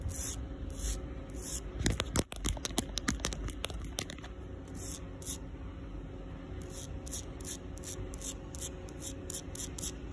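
Long pink nails, with rings on the fingers, scratch the surface of a solid, rough outdoor concrete sidewalk. Short bursts of gritty, hissing scrapes repeat at an uneven pace over a low background rumble. Around two to four seconds in, a cluster of sharp, dry clicks stands out.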